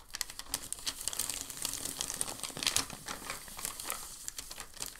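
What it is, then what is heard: Crinkled packing paper sheet. A large, thin, crinkled sheet of white packing paper lies flat on a dark table; a flat hand presses it down, then lifts it and folds it over. The result is dense, bright crinkling and crackling made of many quick, sharp snaps that die away almost instantly, with very little low end.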